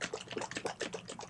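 A chilled glass mason jar holding heavy cream and condensed milk is shaken by hand, producing rapid, repeated wet sloshing pulses. The liquid is still thin at this stage, so it splashes audibly inside the glass rather than sounding airy.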